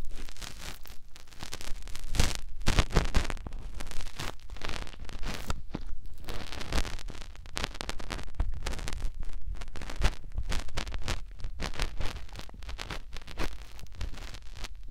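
A fingertip pushes into and rubs the hollow canal of a soft white silicone ear on a white plastic binaural microphone body. The result is close, continuous crackling and scraping rustle. Dense bursts of friction noise come with deep, muffled low rumbles.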